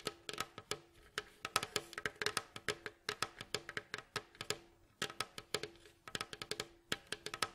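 Nails and fingertips tap and scratch the glossy staves of a hollow, rounded, striped wooden mandolin bowl back lying face down. Dozens of quick, dry, clicky taps ring only briefly, with bright scratchy detail and a faint hollow tone around 1.3 kHz. The sound is quiet, with almost no low end.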